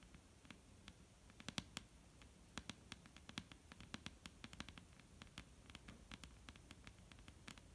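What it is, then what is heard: Wooden tabletop. Long, almond-shaped painted nails on both hands tap a flat, solid, dark-brown wooden tabletop. The result is a quiet, quick, irregular patter of short, dry clicks, each with a bright tick over a soft low knock, that dies away almost instantly.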